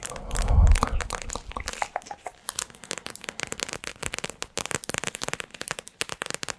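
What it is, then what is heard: Plastic pouch of gel water beads. Long acrylic nails press, squeeze and tap a small, squishy, clear plastic pouch filled with gel water beads and decorated with yellow glitter and blue cartoon eyes, held close to a microphone. A loud, low, muffled squeeze in the first second gives way to a rapid series of short, sticky crackles and taps, each dying away almost instantly.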